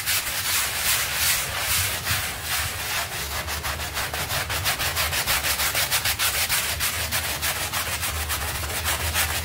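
A stiff-bristle hand brush scrubs a small, dirty pink textile rug covered in white soap foam while the other hand holds its edge. Bright, scratchy bristle strokes repeat steadily at about three per second, with a wet, hissing rub under each pass and a faint low rumble beneath.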